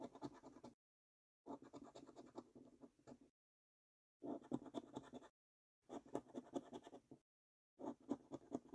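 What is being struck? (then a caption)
Paper scratch card with latex coating. A coin edge scratches the silver latex coating off a thin, flat £5 Prize Portal paper lottery scratch card lying on a dark wooden table, while the other hand holds the card flat. Five bursts of quick, dry, rasping scrapes are heard, separated by short silences.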